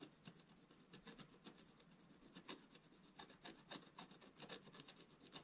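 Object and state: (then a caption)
Scratch-art paper page being scratched. A wooden scratch stylus makes fast, dense strokes across a black-coated scratch-art page, a solid sheet in a book lying flat on a table, scraping away the coating. The result is quiet, dry, bright scratching in rapid, irregular bursts with a crisp high hiss and very little low end.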